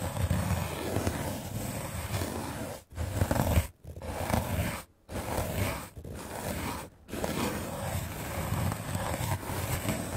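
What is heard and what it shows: A small red-handled paint brush with dark bristles is swept rapidly across a solid, white, rectangular melamine foam sponge held in the hand. It makes a dense, scratchy, rustling sound with a heavy low rumble. The steady brushing breaks off in a few brief silent pauses before resuming.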